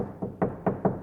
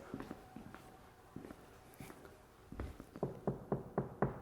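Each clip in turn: First: hollow-sounding untreated car door. Second: solid-sounding car door with sound-deadening mat.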